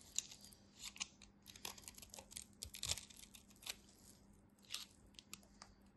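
The crosshatch-scored edge of a solid orange bar of soap, held in the hand, is sliced and shaved with a utility knife blade, making dry, crumbly cuts. A quiet, irregular series of short, crisp, bright crunching and scraping bursts is heard, with almost no low end beyond a faint steady hum.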